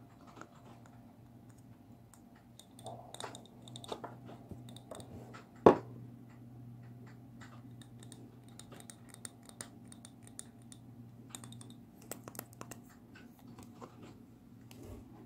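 A small hollow glass jar candle with blue-green wax, a visible wick and an open top is held in the hands and tapped with fingertips and nails on its glass sides and rim. Quiet, scattered clicks and light taps sound over a steady low hum, with one sharper, louder tap near the middle of the clip.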